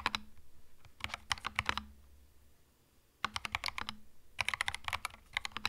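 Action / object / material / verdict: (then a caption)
tap / mechanical keyboard with plastic keycaps / plastic / none. Slow fingertip typing on a compact cream mechanical keyboard with plastic keycaps produces bright, crisp clacks that stop short, each with a faint low thud under it. Quick bursts of keystrokes come in the first two seconds, then a quiet pause of about a second before the typing resumes in two more clusters.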